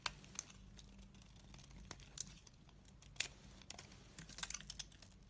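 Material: Soap.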